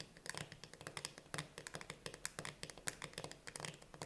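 Long painted nails tap quickly on the pull-tab metal lid and ring-pull of a sealed, full steel can of chickpeas standing upright on a table. The taps are short, bright, and clicky with a light metallic ping around 1.6 kHz and almost no ring, and they land in a fast, uneven run over a faint low hum.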